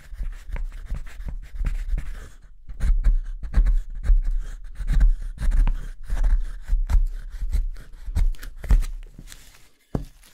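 A gouge scrapes out the hollow interior of a wooden spoon blank while fingers press its bowl against the table. Short, uneven rasping strokes repeat in a steady working rhythm, each with a dull low knock, pausing briefly near the middle and again near the end.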